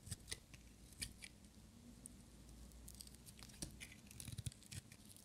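A small, solid, brown-and-white striped bar of dry soap is held in one hand and shaved with a metal utility-knife blade, peeling off curls. Short, dry scraping cuts and crisp, bright crackles come one after another over a low, steady hum, each stroke dying away almost at once.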